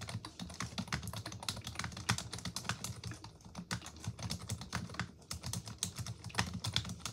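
Both hands with long pink nails type continuously on a black plastic computer keyboard. The rapid, uneven key taps each have a short dull low thump and a bright, crisp click that stops almost at once. The taps form a steady, busy patter with no pauses.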